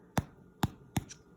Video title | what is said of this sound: My Movie 1 | I got a hollow sound to it